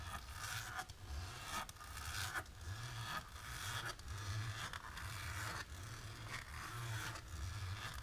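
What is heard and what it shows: Long natural pink nails on both hands scratch and rub across a flat, dark, embossed plastic sheet. Repeated, somewhat irregular raspy strokes sound over a steady low rumble, each stroke bright and crackly with a short, dry finish.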